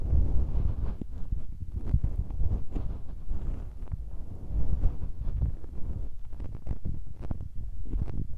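Fingertips press and tap on the tops of two small, hollow metal mesh microphone capsules with red rings on a Tascam recorder, left and right at once. The result is a steady stream of deep, muffled thumps and rumbling, with almost all of the sound sitting very low, around 82 Hz. The thumps die away almost instantly.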